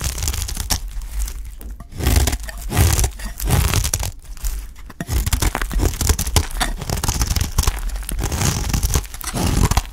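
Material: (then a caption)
Soap. A utility knife blade scrapes and shaves strips off the cut face of a solid, dry green olive oil soap bar held in the hand. Bursts of crunchy, crinkly tearing and scraping come in quick succession over a heavy low rumble.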